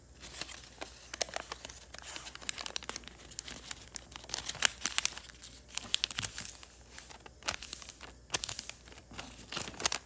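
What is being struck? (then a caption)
Thin origami paper. A partly folded sheet of thin origami paper is creased, flattened and crinkled by fingertips on a wooden table. Dense, bright crackling and rustling from the layered paper comes in uneven bursts with sharp crisp snaps and almost no low end.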